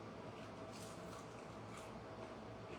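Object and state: Nothing is struck.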